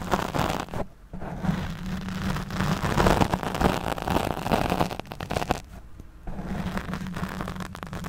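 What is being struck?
Foam microphone windscreen.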